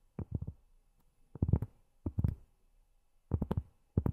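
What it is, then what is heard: Cork tapped with fingernails. Cork tapped with long fingernails gives quick, soft, dull taps with low thud and almost no ring. They fall in four short bursts of rapid taps separated by brief pauses.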